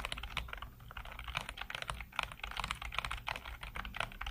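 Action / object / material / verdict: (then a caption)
tap / plastic computer keyboard / plastic / none. Fingertips type rapidly on the keys of a black plastic backlit computer keyboard. A fast, uneven stream of short, bright clicks and taps fills the clip, with no ringing, over a faint steady low hum.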